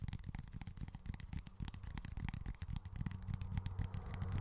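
Fingernails scratch and tap quickly and irregularly on a small, flat cork board, making soft, dry, crackly ticks with very little ring. A steady low hum sits beneath the taps, and the scratching grows slightly louder and denser toward the end.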